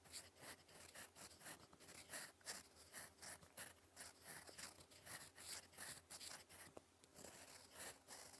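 A gold metal fountain pen nib scratches across a sheet of lined cream writing paper in continuous cursive strokes. Quiet, bright, scratchy bursts rise and fall in an irregular rhythm as each stroke is drawn, over a faint steady low hum.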